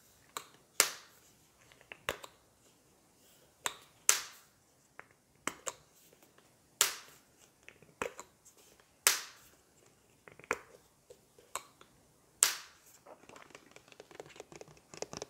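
Long nails tap the plastic body and gold cap of a large turquoise plastic shampoo bottle that appears full, while a lollipop is held in the mouth. Fifteen sharp, bright clicking taps ring out at irregular intervals, each dying away almost at once. Faint soft crackling fills the gaps toward the end.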